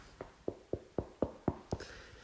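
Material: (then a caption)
Wood. A wooden surface is knocked seven times in an even rhythm, about a quarter second apart. Each knock is a short, dull, woody thud with little ring, and the taps fade quickly into quiet background.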